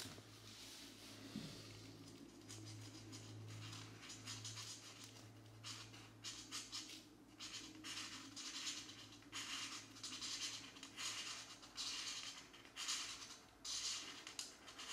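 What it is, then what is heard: Felt-tip marker scratching on paper. A felt-tip marker colors a printed geometric pattern page in magenta in a paper coloring book lying flat on a desk, using steady back-and-forth strokes. The tip makes bright, scratchy rubbing bursts across the paper, repeating about once a second with uneven timing, over a faint low hum.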